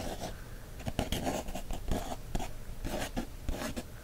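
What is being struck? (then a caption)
Paper coloring book page traced with a wooden stick. The tip of a thin wooden stick traces and scratches across a printed line-art page in an open paper coloring book. The result is quiet, continuous dry scratching strokes broken by several sharper little ticks.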